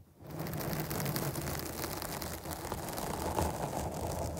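Long nails of one hand scratch the top of a black foam windscreen on a microphone. After a brief quiet start, a dense, continuous crackling rustle with a deep, boomy low rumble and faint bright hiss holds steady for the rest of the clip.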